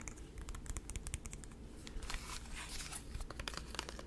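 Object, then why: Plastic handheld game console. A small light-blue plastic Nintendo DS-style handheld console with a hollow shell is held in the hands, folded and then opened, and tapped and scratched with the fingertips. The result is a steady run of quick, dry, bright clicks and ticks mixed with scratchy, crinkly rustling over a low, muffled background rumble.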